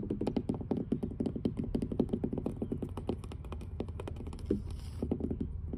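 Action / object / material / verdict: tap / weathered wooden dock planks tapped with fingernails / wood / none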